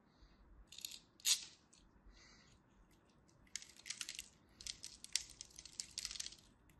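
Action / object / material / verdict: scrape / bar of soap scraped with a small blade / soap / none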